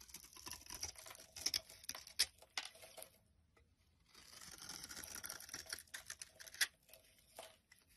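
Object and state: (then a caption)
Olive oil soap bar being scraped. A utility knife blade scrapes flakes off a solid green olive oil soap bar held in the hand. The sound is soft and bright: dry, crackly scraping strokes with sharp ticks, in two runs split by a near-silent pause of about a second.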